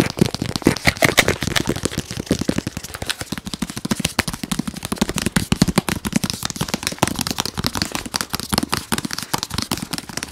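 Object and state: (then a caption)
Cardboard product box. A medium-sized, hollow white printed cardboard product box with a picture of a round device is tapped very rapidly with fingernails and fingertips. The result is a dense, continuous stream of sharp, dry clicks and hollow thuds with very short decay, spanning low body tones up to bright crisp highs.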